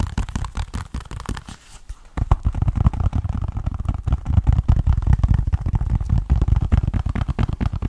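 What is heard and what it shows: Fingernails tap and scratch the front and edges of a small, hollow white plastic 3DS game case with a paper insert under a plastic sleeve. Quick, irregular, dull taps and scratchy rasps run throughout, with a brief quieter pause near two seconds before the tapping picks up again. The sound is dense, low-heavy and close.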